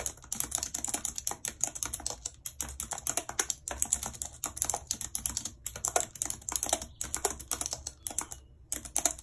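Long red nails tap the keys of a white plastic computer keyboard in steady typing. The clicks are quick, bright and dry, dying away almost at once, with short pauses between bursts.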